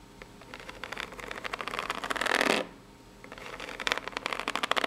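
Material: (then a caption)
Cardboard. Long nails scratch the ribbed surface of a small, hollow brown corrugated cardboard box near its layered edge, making dry, crackly scraping. The scratching builds to a loud continuous rasp, stops for a brief near-silent pause, then resumes as sharper, brighter flicking scratches.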